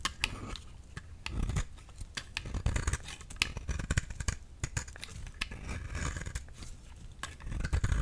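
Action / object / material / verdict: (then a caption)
scrape / soap bar / soap / none. A flat, solid yellow soap bar held in the hand is scraped over and over with a steel utility knife blade, peeling off thin shavings. Each stroke gives a short, dry, crisp scrape or click with bright edges over a soft low rumble, and the strokes come in a quick, uneven rhythm.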